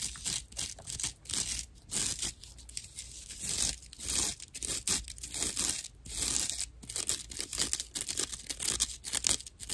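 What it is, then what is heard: Dry natural loofah sponge. Long natural nails scratch a hand-sized rectangular slab of dry, empty natural loofah, a porous, hollow-channeled plant fiber. The result is a run of rough, bright, rasping and crinkling strokes that swell and fade in quick bursts over a faint steady low hum.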